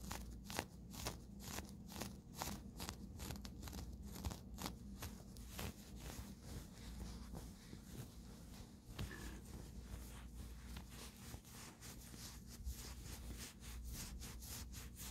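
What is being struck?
Cotton terry towel.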